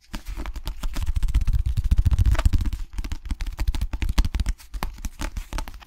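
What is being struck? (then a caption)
Cloth-covered hardcover book. Long nails tap and scratch across the cloth cover of a small cream hardcover book marked with a red dot. The result is a dense run of quick, dull, low-heavy taps mixed with soft scratching that swells in the middle and thins toward the end.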